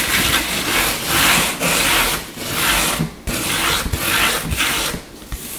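Short fingernails scratch and rake fast across the grain of a flat, solid, light-colored wooden tabletop, with some tapping mixed in. The result is a run of loud, bright, rasping strokes separated by brief dips, with soft low knocks underneath.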